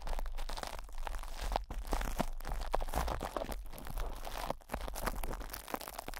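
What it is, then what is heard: Plastic wrap crinkled over a metal mesh grille. Fingertips and short nails scratch, squeeze and rub crinkly plastic cling film wrapped tightly over the hollow metal mesh grille of a Blue Yeti microphone head. The result is a steady stream of dense, close crunching and crinkling with bursts of scratchy tearing texture over a low rumble, and no speech.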